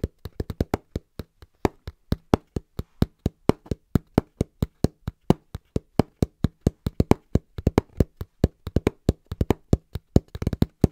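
Hands tap fast and rhythmically on a cardboard box. The clip is a dense run of short, dry, hollow thumps with almost no ring, mostly low in tone around a dull 109 Hz body. Many quick, closely spaced strikes vary in loudness and cluster into a faster flurry at the end.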